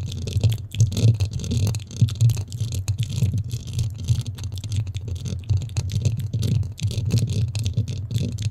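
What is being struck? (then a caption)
Foam microphone windscreen. Long nails scratch and rub the top and sides of a black foam windscreen on a microphone. The result is a continuous, muffled, low-heavy rustling and crackling made of dense, rapid scraping strokes with a deep rumble around 117 Hz and almost no high-end content.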